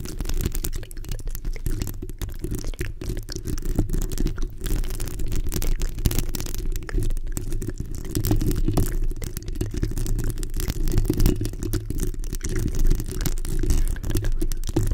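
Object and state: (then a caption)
Metal mesh microphone grille. Long nail tips scratch and tap the hollow metal mesh grille of a black microphone. The result is a steady, dense, rumbling crackle made of rapid, closely packed scratches and taps, with almost all of its energy low in pitch and very little brightness. The loudness stays fairly even throughout.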